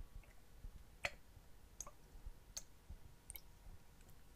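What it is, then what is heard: Plastic water bottle. Fingertips and nails tap and click on a clear, hollow, apparently empty PET water bottle with a blue cap and paper label, held horizontally. Four short, sharp, bright clicks stand apart, the first loudest, each dying away almost instantly over a quiet, low background rumble.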